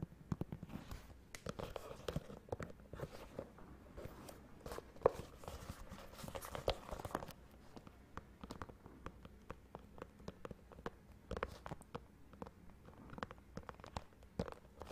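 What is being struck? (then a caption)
Leather dress shoe. A single black leather dress shoe, hollow with a hard sole, is held upright close by and tapped and scratched with long fingernails on its upper and sole. The result is a dense stream of soft, quick, dry clicks and scratchy rustles that stop instantly, with a faint midrange tone and little high end.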